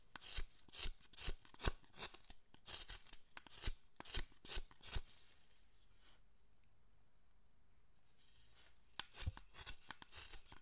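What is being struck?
Carved wooden statue, steel gouge on wood.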